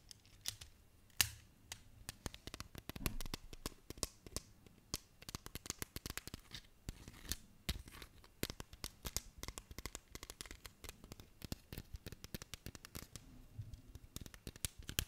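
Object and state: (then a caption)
Plastic magnetic building tiles. Colorful translucent plastic magnetic toy tiles, built into a small hollow cube, are handled and tapped with fingertips and nails, and clicked together. Dense, quiet, dry clicks and taps follow in rapid irregular succession, each dying almost instantly. Faint rustling and scratching sounds run between them.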